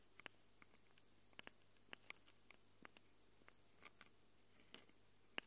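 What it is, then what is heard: Fingernails on metal microphone capsules. Long acrylic nails scratch and click against the metal mic capsules of a small black handheld Tascam recorder. About fifteen short, bright, dry ticks scatter across a quiet, steady low hum. The last tick is the loudest, and none of them ring on.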